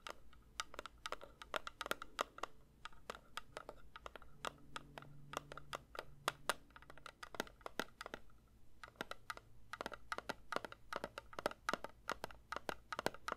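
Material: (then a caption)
Metal. A metal candle tin is lightly tapped with the fingertips in a steady flurry of quick, sharp taps. Each tap is a short, bright click with almost no ring, over a faint low background hum that swells briefly in the middle.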